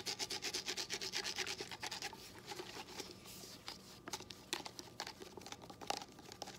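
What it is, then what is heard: Plastic lemon squeeze bottle scratched. A small hollow yellow lemon-shaped plastic lemon juice squeeze bottle with a dimpled textured surface and a green cap is held in one hand and scratched with short dark-painted fingernails. Quick, bright, dry scratching strokes come in a rapid rhythm, ease into a softer continuous rubbing, then return as scattered, sharper scratches.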